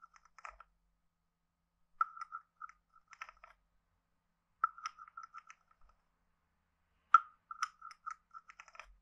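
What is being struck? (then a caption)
Carved wooden frog guiro played with a stick. A wooden stick taps and rubs the head and body of a hand-sized, hollow, carved wooden frog guiro. Quick, dry, woody clicks and short scraping rattles come in several bursts separated by brief pauses, each burst opening with a sharper knock. The clicks have a hollow, mid-pitched tone and no ring after each stroke.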